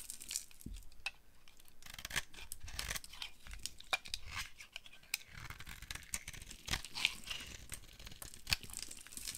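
A utility knife blade scrapes and carves a solid, dry pink bar of soap, breaking off flakes. The result is a steady run of dry, crackling scratches and crisp snaps, bright and gritty, with occasional soft low thuds between cuts.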